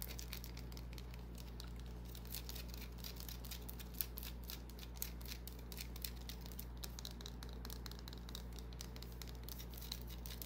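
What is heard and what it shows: A small, solid white bar of soap held in the palm is scratched with long nails, making quick, bright, crisp scratching clicks in rapid succession. A steady low hum sits underneath throughout.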